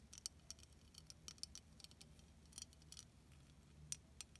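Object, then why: Plastic beaded snowflake ornament. Long nails scratch and tap across the beaded surface of a solid, hand-sized clear plastic beaded snowflake ornament held in both hands. The result is about eighteen quiet, sharp, bright clicks and ticks with no ring, scattered over a soft scratchy texture and a faint low hum.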